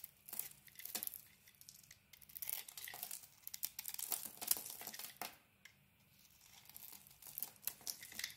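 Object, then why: Solid bar of soap. A blade carves the outer layer off a green and yellow patterned solid bar of soap held in the hand. It makes quiet, bright, crisp scraping and shaving sounds in a run of short strokes, with a brief lull just past the middle before the carving picks up again.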